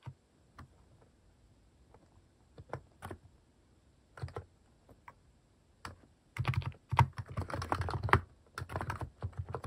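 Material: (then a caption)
Plastic. Fingertips type on a compact mechanical keyboard with cat-shaped plastic keycaps, producing short, low, thocky clicks. Sparse, separate keystrokes come first, then the typing speeds into a dense run of overlapping clacks in the second half.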